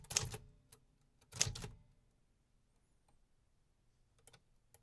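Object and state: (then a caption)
Vintage metal typewriter. Fingertips type on the round keys of a vintage 1950s metal typewriter with paper loaded, producing bright mechanical clacks. Two loud bursts of clacking come early, followed by quieter stretches with a few faint, sharp clicks near the end.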